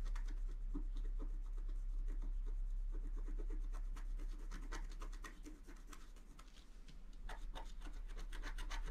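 The tip of a wooden stylus repeatedly scratches a flat scratch art sheet of black-coated paper, held flat by the other hand. Short, dry, brisk scratching strokes come in a steady rhythm. They ease off and soften briefly in the middle, then return with crisper, brighter scrapes toward the end.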